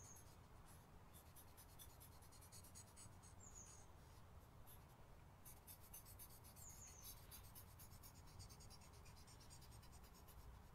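A hand strokes and scratches a light-colored charcoal pencil or blending stump across a sheet of white drawing paper clipped to a wooden easel outdoors, the paper flat and backed by a board, while shading a leaf sketch. Soft, steady scratchy rasps repeat in bright bursts throughout over a constant low rumble, with a few brief high tonal chirps at intervals.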